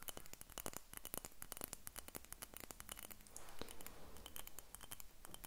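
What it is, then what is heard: Glass dropper bottle. Long nails tap and scratch the surface of a small faceted purple glass dropper bottle with a dropper cap, held close to the recorder. A rapid, uneven stream of sharp, bright clicks mixes with short scraping strokes. Each tap is dry and stops almost at once, over a low background rumble.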